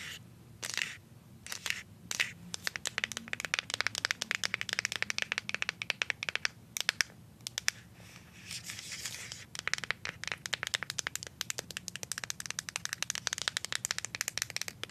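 Paper clip nails scratch and tap on the label of a plastic deodorant stick, making a dense stream of sharp, dry, bright clicks with almost no ring. Brief scratchy, crinkly passages break in near the start and again around the middle before the rapid tapping resumes.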